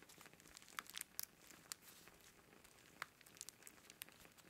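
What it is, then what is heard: Dry sage bundle, crinkling. A hand-length bundle of dried white sage leaves wrapped in string, solid and dry, is held up in both hands as fingertips rub and squeeze the leaves. The result is quiet, bright crinkling and crunching with sharp, brief crackles scattered over a soft rustle.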